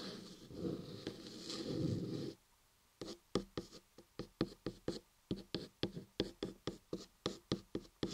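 Fingertips and long nails work on the top of a solid laundry soap block carved into the shape of an ear. First comes about two seconds of steady, grainy scratching that stops abruptly. After a short silence, around twenty crisp, dry taps follow in a quick, uneven rhythm, each one fading almost instantly.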